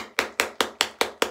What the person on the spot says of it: then you can hear it you can hear it sloshing around